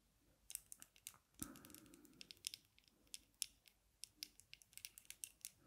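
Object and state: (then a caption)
Metal-frame sunglasses tapped with fingernails. Long nails tap the dark lenses and metal frame of small, thin aviator sunglasses worn on the face. Quick, bright clicks come in scattered bursts, with one fuller knock near 1.4 seconds that leaves a short low hum.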